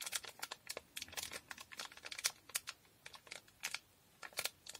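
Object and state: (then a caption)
Small foil packet. A small, square, blue foil Durex condom packet, sealed and full, is held in both hands and tapped, scratched and crinkled with long painted nails. The result is a quiet, rapid string of short, dry, bright crackles and ticks with no low end, each dying away almost instantly between brief pauses.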